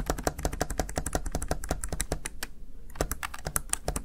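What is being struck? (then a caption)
Plastic gaming keypad keys. A small, hollow, backlit plastic Razer Tartarus Chroma gaming keypad has its keys tapped rapidly with fingertips and long nails. The result is a quick, steady run of short, dry plastic clicks with a hollow, mid-pitched tone, a brief pause, then another burst of taps.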